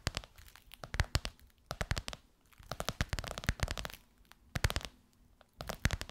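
Long white nails tap and scratch across a gold crocodile-embossed faux leather pillowcase stretched over a soft pillow. The result is quick bursts of dull, low-thudding taps mixed with crisp, crinkly scratching. Short pauses separate the bursts.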